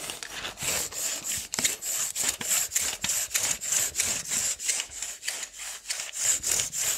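A handheld steel tape measure with a blue plastic case has its long steel blade pulled out of the hollow case and slid back in by the fingers. About 22 quick, bright, rasping strokes of rubbing and sliding repeat at roughly three per second, each a short hiss that stops abruptly, with almost no low end.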